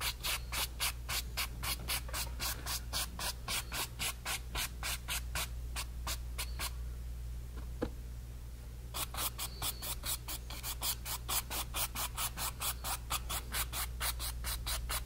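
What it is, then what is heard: Brush strokes on stretched cotton canvas. A flat brush is rubbed in quick, steady strokes over the woven fabric of a painted, stretched cotton canvas panel, making bright, scratchy swishes at about four strokes per second over a constant low hum. The brushing stops for about two seconds, broken only by a single short click, then resumes at the same rhythm until the end.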